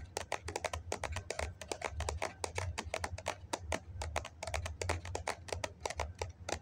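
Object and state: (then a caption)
Foam cup. Fingernails tap quickly on the side of a hollow white foam cup held in both hands, producing about forty dry, clicky taps in a rapid, uneven stream. Each tap is short with almost no ring, over a steady low hum.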